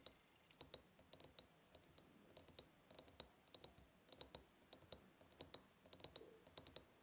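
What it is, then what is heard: Ribbed glass jar tapped with fingernails. Long painted nails tap quickly on the sides of a large, empty, hollow ribbed glass jar. Each tap is a short, bright click with almost no ring, and the clicks come in an uneven, rapid patter of about 28 distinct hits.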